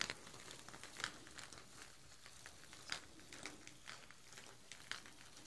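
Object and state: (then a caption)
Plastic artificial chili peppers, rustling. Two strands of glossy artificial plastic chili peppers on twine are held up by the top and shaken. The peppers give a quiet, bright, crinkly rustle with sharp little clicks and knocks as they bump together. A few louder clacks stand out over a steady papery rattle.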